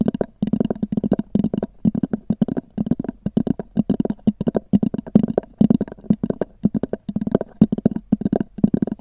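Long nails tap and scratch rapidly on a small black oval hard-shell EVA zip case with a textured cover. The hollow shell answers with dense bursts of dry, clicky taps that carry a low, boxy resonance, broken by short pauses throughout.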